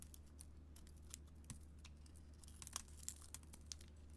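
A metal blade scrapes and carves flakes off a solid gold-coated bar of soap with a green core and bead and glitter decoration, held in hand. Quiet, crisp, bright crackling scrapes come in short, dry bursts over a steady low hum.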